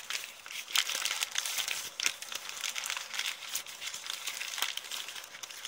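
An empty, heavily crumpled brown kraft paper bag is squeezed and crinkled with the fingers and long nails. The result is a continuous, bright, dry crackling and crinkling with many sharp snaps and almost no low end.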